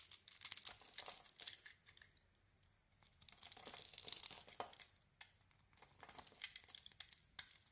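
A utility blade carves into a solid white soap bar with a dark painted, textured coating, held in the hand, scraping off curls. Bursts of bright, crisp scraping and crackling come in waves, separated by short near-silent pauses, with almost no low end.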